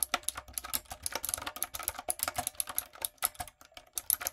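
Fingertips and long nails type quickly on a light-up, typewriter-style retro mechanical keyboard with round plastic keycaps. About 29 sharp, bright clicks and clacks come in an uneven, rapid stream, each dying away almost instantly with almost no low end.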